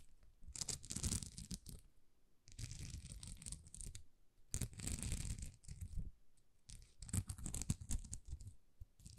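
A thin, flexible plastic rhinestone sticker sheet with rows of small plastic rhinestones is held in both hands and scratched across the gems with long nails. Repeated bursts of dense, crackly scratching come with a bright, gritty top and a strong low rumble, separated by brief quiet gaps.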